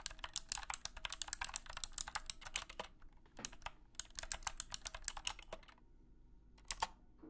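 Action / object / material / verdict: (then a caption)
tap / plastic mechanical keyboard / plastic / none. Fingertips type on clicky switches of a compact wired mechanical keyboard with a hollow plastic case and light blue plastic keycaps, resting on a carpeted surface. Bright, sharp clicks come in quick bursts, with two short pauses broken by single taps. Each keystroke ends almost at once with no ring.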